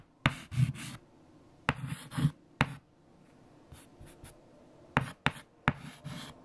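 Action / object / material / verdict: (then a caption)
scrape / white chalk on a chalkboard / chalk / none. Fingertips hold a piece of white chalk and write numbers on a large, flat, erased black chalkboard. Six sharp taps of the chalk striking the board are interspersed with bursts of dry, bright scratching strokes over a low, soft body. Quiet pauses fall between the strokes.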